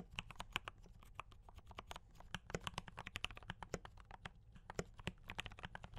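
Fingertips of both hands type fast on a D84 mechanical keyboard with brown switches and cream and red plastic keycaps. A rapid, uneven stream of short, sharp plastic clacks with bright tops sounds over a low, steady hum. Each keystroke dies away almost instantly.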